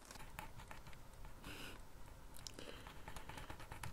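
A sharpened wooden pencil held in the fingers scratches quick strokes and hatching across a thin sheet of drawing paper that bears a bird sketch and lies on a flat surface in dim light. Soft, dry scratching comes in rapid bursts, with brighter hissy swipes over a steady low rumble, all at a quiet level.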